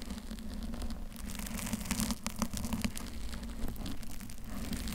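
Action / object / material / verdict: scrape / foam microphone cover / foam / none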